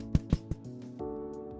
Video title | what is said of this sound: 【Bread Classes 101】Sweeteners and their effects! - THE SUGAR & YEAST THING IS A HOAX!!! | you can't really hear anything it's kind of almost bouncy sounding like a ball